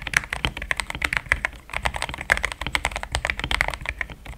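Fingertips type continuously on a cream and pink mechanical keyboard with plastic keycaps. Rapid, crisp clacks centered near 2 kHz with bright top edges sit over a soft low thump. Each keystroke stops almost instantly.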